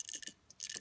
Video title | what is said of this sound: How to Repair Any Drip Coffee Maker | you can hear that that uh ball is now loose